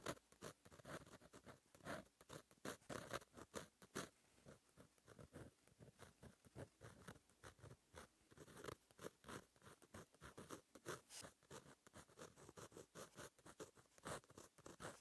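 A fine metal gel pen tip, held in fingers, scratches across a flat black lined page of a black paper notebook while writing. The sound is a quiet, steady run of many short, dry scratches and ticks with bright edges. Brief pauses between word-like bursts are heard throughout.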